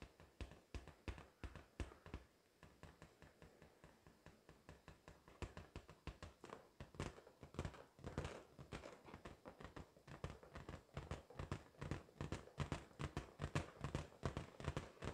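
A pink inflated latex balloon, hollow and air-filled, is held against the chest and tapped repeatedly with long acrylic nails. The rapid, somewhat irregular taps each give a short, low, hollow thump around 130 Hz with a faint bright click from the nails. They die away almost at once and grow slightly louder and denser toward the end.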